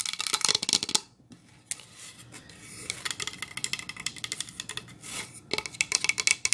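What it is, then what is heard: Wooden plank sign tapped with nails. Long acrylic nails tap rapidly on a medium-size flat painted pine-wood sign made of solid planks and decorated with reindeer and snowflakes, first while it lies flat and then while it is held upright. The taps are quick, dry, bright clicks with almost no ring, coming in dense bursts separated by a brief quiet pause and softer scratchy stretches.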